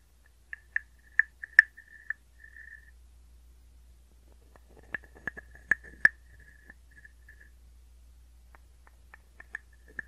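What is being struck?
Carved wooden frog guiro.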